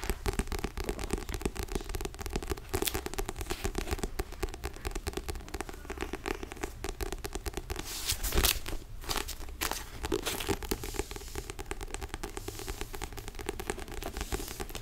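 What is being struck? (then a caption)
Paperback puzzle book with paper cover. A small yellow and black paperback sudoku puzzle book, held in one hand, has its paper cover tapped and scratched by the fingertips of the other hand. Dense, dry crinkling and scratching clicks run steadily throughout over a low rumble, with a louder burst of scraping around the middle before the quick taps resume.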